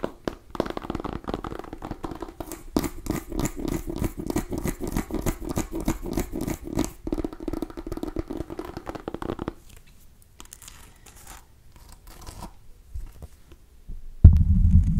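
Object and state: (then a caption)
Mini pumpkin scratched and tapped. A small cream-and-orange striped mini pumpkin, a hollow gourd held close to the mic, is tapped and scratched with long nails. Rapid, dense taps and scratches run for the first nine seconds or so, dull and mostly low with almost no ring. Quieter, sparse scratches follow before a louder low rumble at the very end.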